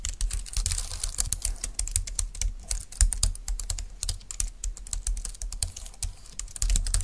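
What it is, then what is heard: Plastic low-profile keyboard. Fast typing with long-nailed fingertips of both hands on a compact dark green plastic low-profile keyboard with flat keys, resting on a desk mat. Dense, bright, clicky taps over a hollow plastic body, with a low thump under the stream of keystrokes.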